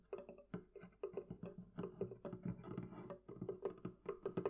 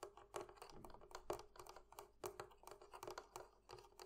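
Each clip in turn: First: wooden barrel chest. Second: metal fittings of a barrel chest.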